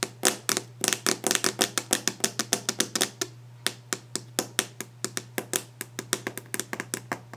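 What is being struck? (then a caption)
Varnished wooden desk top. Long nail tips tap quickly and steadily on a solid varnished wooden desk top, making a rapid run of short, bright clicks with almost no ring. A low, steady hum sits underneath, and the taps pause briefly around the middle before resuming.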